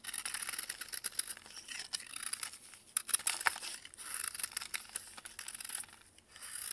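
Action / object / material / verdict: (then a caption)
scrape / pressed baking soda block scraped with a metal knife / baking soda / none. A metal knife carves and scrapes powdery flakes off a large, solid white block of pressed baking soda held in blue gloves over a plastic tray. The sound is a dry, bright, continuous rasping and crunching with no low end, marked by a few sharper crackles near the middle. It quiets briefly before the scraping picks up again at the end.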